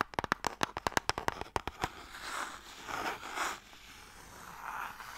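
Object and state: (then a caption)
Wooden box tapped and scratched with nails. Long nails rapidly tap a closed, hollow, light wooden box printed with MIKADO, producing 14 short, dry, hollow knocks with a woody mid-pitched tone over about two seconds. The nails then scratch across the wood in soft, bright, rasping strokes that swell and fade.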